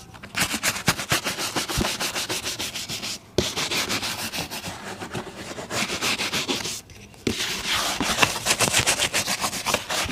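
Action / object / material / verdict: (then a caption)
scrape / leather boot and bristle brush / leather / none. A brown leather boot, worn on a foot and steadied by the other hand, is brushed vigorously with a bristle shoe brush. Rapid, bright, hissing scrub strokes come in three fast runs, separated by two brief pauses.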